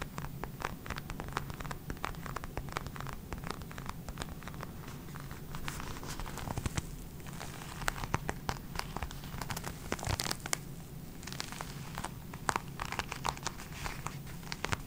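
Long red acrylic nails tap and scratch the surface of a small, flat black leather case held in both hands close to the microphone. Dense, rapid clicks and dry scraping crackle over a steady low hum, each tap dying away almost instantly.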